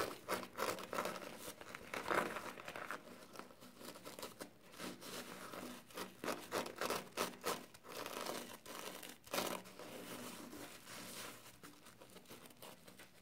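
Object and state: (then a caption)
Soapy foam kitchen sponge with scouring pad. Fingers squeeze a soapy yellow foam kitchen sponge, rub its green scouring pad and pinch its edge. The result is a run of quiet, wet crinkling and crackling bursts with bright, airy texture and little low end, rising and fading in irregular rhythm.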